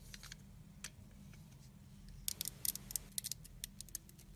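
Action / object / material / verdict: scrape / soap bar scored with a utility blade / soap / none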